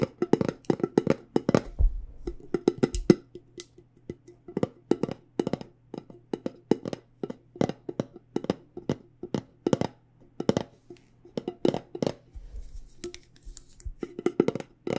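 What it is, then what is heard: Metal tea tin. Fingernails tap quickly and repeatedly on the lid and sides of a cylindrical metal tin of loose tea with a printed label. The taps come in uneven bursts and short pauses, each a dry, hollow click that dies out almost at once. A faint steady low hum sits underneath throughout.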